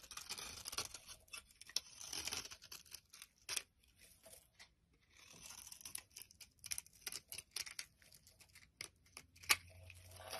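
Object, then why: Olive soap bar. A solid green olive soap bar held in the hand has flaky layers scraped and cut from its surface with a metal blade. Bright, crisp scraping and shaving strokes come in quick bursts with short pauses, most of the energy high and almost nothing in the low end.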